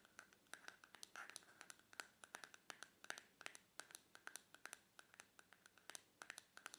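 A small white plastic face cream jar with a magenta plastic lid, closed and likely full, is held on a towel while long painted fingernails tap and scratch its lid. Quick, dry, clicky taps fall in an uneven rhythm over soft scratching, with a bright tone around 1.5 kHz and almost no ring.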